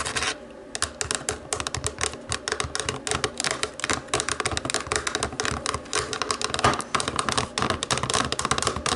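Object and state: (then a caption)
Plastic TV remote control. Long nails rapidly tap the rubber buttons of a small, hollow black plastic DVD remote control. A dense, uneven run of bright, dry clicks and taps follows in quick succession, each one short with almost no ring, over a faint scratchy background.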